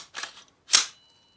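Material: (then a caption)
Steel. A rifle bolt is slammed on a rifle fitted with a steel flash hider, producing two sharp metallic clacks, the second louder. A faint high, bell-like ping from the flash hider lingers after the second clack. The hider rings because its prongs are all the same height; uneven prongs stop the ringing.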